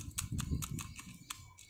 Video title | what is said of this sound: TASBIH AKAR BAHAR PUTIH BERBATIK MIRIP BATU | suaranya tek tek tek tek tek tek gini. Terus beda sama kayu